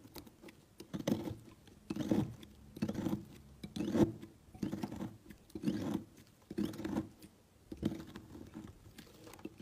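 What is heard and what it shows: A utility knife slices a large, solid, cream-colored block of soap into thin, flaky layers. Each stroke makes a soft, muffled, crumbly scrape, and the strokes repeat at an uneven, unhurried pace with quiet pauses between them.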